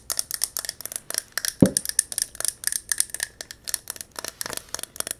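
A silver mercury-glass candle jar filled with yellow candle wax is held tilted and rapidly tapped and scratched with long nails on the glass. About 25 quick, bright clicking taps follow one another with short, dry decay, broken up by a louder, fuller knock near the middle.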